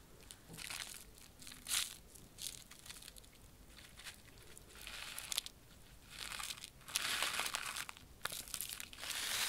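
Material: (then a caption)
Plastic foil. A small, flat purple plastic-foil pouch of popping candy is held up in both hands and crinkled and squeezed between the fingertips. This makes bright, crisp crumpling in irregular bursts that swell and fade. The sound sits almost entirely in the high range, with very little low end.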